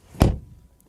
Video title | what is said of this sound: Mercedes-AMG GLE 53 review - OnlyPerformance car reviews | that sounds solid